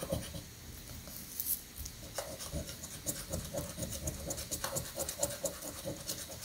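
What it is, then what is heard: Scratch-off ticket being scratched. A metal coin rapidly scratches the remaining coated spots off a paper scratch-off lottery ticket held flat on a granite surface. Quick, uneven rasping strokes with bright, crisp scrapes ride over a low rumbling background.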